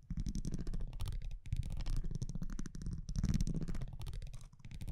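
A metal tweezer-like tool scratches and taps across the front of a thin printed cardboard baseball trading card held in one hand. The result is a dense, steady run of low, rumbling scrapes and soft rapid ticks, dipping briefly about a third of the way in and again near the end.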